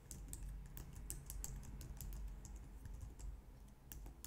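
A low-profile white/light-grey plastic wireless keyboard, resting on a glitter mat on a wooden desk, is typed on steadily with long painted nails and fingertips. The result is a quiet, continuous stream of small, bright tapping clicks over a soft low rumble.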